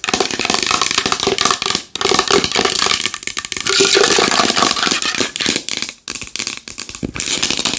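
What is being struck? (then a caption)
Large wooden bowl. A large wooden bowl is tapped fast and hard with long nails, giving a dense, uneven stream of sharp, bright clicks and short rattling scrapes. The strikes are quick and dry with almost no ring, with a faint woody tone near 380 Hz under the clatter.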